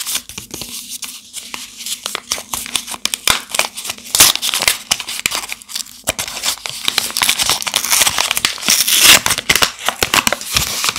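A rectangular bar of Barwy Harmonii Rose shea butter soap, still in its glossy pink paper wrapper, is held in one hand while the fingertips grip and rub the wrapper to start unwrapping it. The result is dense, bright crinkling and crackling with sharp tearing rustles, full of rapid short snaps and almost no low end.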